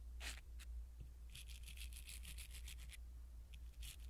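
A blue silicone-bristle ear pick rubs against a small black foam windscreen on a pin microphone. Quick, soft, bright scratchy brushing strokes come in bursts, with a dense run in the middle, over a steady low hum.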